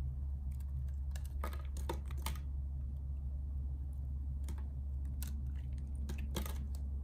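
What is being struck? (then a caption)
Bar of soap. A solid, hand-sized bar of purple soap is held in one hand while a metal box-cutter blade scrapes and carves curls off its surface. Short, crisp scraping strokes come in irregular bursts, bright and dry, over a steady low hum.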